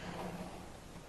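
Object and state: Nothing is struck.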